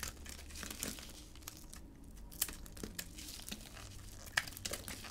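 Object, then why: Bar of hard soap. A palm-sized rectangular bar of hard, dry soap, yellow outside and cream inside, is held in a black-gloved hand and shaved with a utility blade, cutting flakes off the bar. The result is a steady, crisp crinkling scrape with bright edges, broken by a few sharper clicks as the blade bites.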